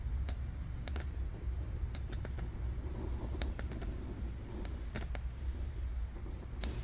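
Long dark nails tap and scratch across the illustration on one spread of an open board book with thick, glossy cardboard pages. Short, bright clicks and faint scratches come through at irregular intervals over a steady low rumble that dominates the sound.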